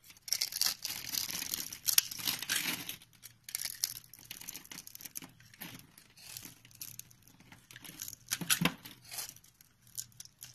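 A utility knife blade shaves and cuts into a solid, hand-sized white soap bar with an embossed logo, held in the palm. Bright, crisp scraping and crinkly shaving sounds come in dense bursts, loudest over the first three seconds. They are followed by quieter, intermittent cuts and one sharper stroke near the end.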